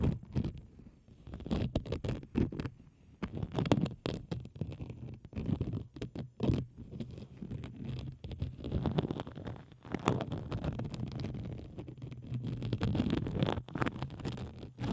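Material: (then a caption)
Plastic. A pink plastic bubble wrap sheet, held taut over the microphone, is scratched and pressed with the long acrylic nails of both hands. The result is a continuous, muffled stream of close scratching, scraping and soft tapping that is mostly low and dull, with quick rapid clicks and brief bright crackles.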